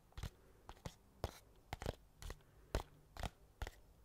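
The fingernails of one hand scratch and tap the top of a small, flat, hollow white cardboard mailer box held in the other hand. About twelve short, dry, crunchy taps and scrapes come at an irregular pace, each with a brief papery rasp that dies away almost instantly and leaves a quiet, low background hum.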